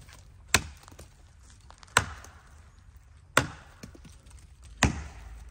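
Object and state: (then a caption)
Hollow tree trunk. Four separate sharp strikes land on the base of a rotten tree trunk, each giving a short, hollow woody knock that dies away quickly over a low background rumble. The sound shows the trunk is hollow.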